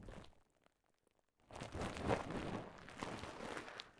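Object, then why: Plastic bubble wrap. Clear plastic bubble wrap, bunched into a mound, is scratched and squeezed by nails and fingertips. A short burst of crinkling gives way to near silence for about a second, then dense, continuous crackling and crunching sounds resume to the end.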